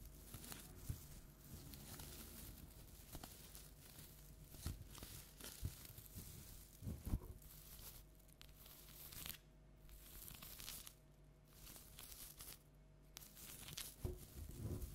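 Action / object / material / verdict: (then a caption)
scrape / metallic foil tinsel decoration / metal foil / none. Long nails scratch and rake through the crinkly strands of a large round pumpkin decoration covered in orange metallic foil tinsel, with a black felt face and green tinsel top, held upright. Steady soft crinkling and tearing-like rustle fills the clip, broken by sharper scratching accents.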